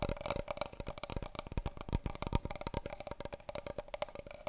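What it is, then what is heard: Large cardboard tube. A long, hollow, brown cardboard paper roll tube, held in both hands, is tapped rapidly with fingernails and scratched along its surface. The quick, dry taps come in a dense, uneven run with a hollow, papery knock. Each tap dies away almost at once over a faint scratching texture.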